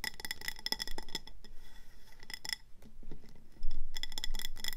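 A medium round ceramic planter with a speckled grey body and orange glazed rim, filled with pebbles and a succulent, is tapped and scratched fast around its body and rim with long painted nails. Quick, bright, glassy clinks and ticks come in uneven bursts with brief scratchy stretches between, and the tapping grows louder toward the end.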